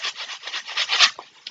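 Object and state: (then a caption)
Packet of couscous shaken. A packet of couscous is shaken back and forth, its grains rattling and rubbing inside with a bright, hissy swish concentrated in the high frequencies. About ten rhythmic pulses build to a louder peak near one second, followed by two short, soft taps as the shaking stops.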